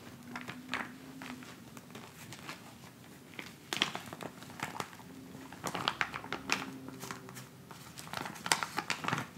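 A filled, flat white plastic instant cold pack pouch lies on a fabric surface and is scratched and pressed with the fingertips and nails of both hands. Soft, bright crinkling and crackling fill the clip, with frequent short, sharp scratches that die away almost instantly. A faint low tone runs underneath.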